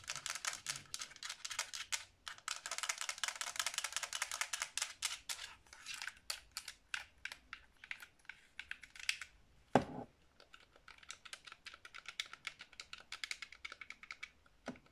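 A black Xbox 360 controller, a hollow hard plastic shell with buttons held in both hands, is tapped and scratched with long blue-painted nails. Fast, dense, bright clicking taps run throughout, thinning out after about 6 seconds, with one louder, deeper knock near 10 seconds.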